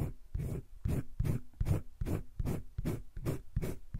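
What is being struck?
Wooden colored pencil on paper sketchbook page.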